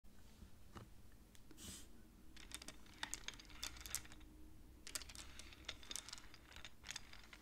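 Long polished nails and fingertips slide and click colored painted wooden beads together on thin metal rods of a large wooden-framed abacus set against a black board. Quiet, sharp, bright clicks come in irregular bursts among soft sliding rustles. Each click dies away almost instantly over a low steady background hum.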